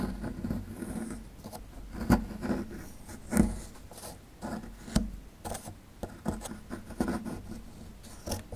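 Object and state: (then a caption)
Plaster fossil excavation block being scraped. A small metal chisel-tip tool scrapes and chips at a small, solid, rectangular plaster block with a dinosaur skeleton relief, held in one hand, and crumbs fall off. Soft, gritty scraping runs throughout, broken by sharper low chips and clicks that die away quickly.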